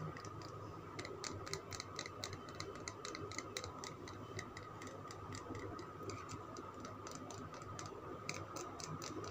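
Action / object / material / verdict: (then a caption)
tap / solid soap bar / soap / none. Fingernails tap and scratch a solid green Lux soap bar held in the palm. The result is a quick, irregular series of light, bright clicking taps over a soft, steady scratching and low background hiss.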